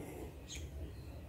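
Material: Nothing is struck.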